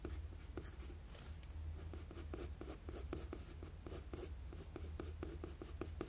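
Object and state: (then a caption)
Pencil strokes on drawing paper. A wooden HB graphite pencil, held in the hand, scratches continuous strokes across a flat sheet of drawing paper resting on a desk. Quick, scratchy strokes repeat in a steady rhythm, each a short bright rasp, over a quiet, constant low hum.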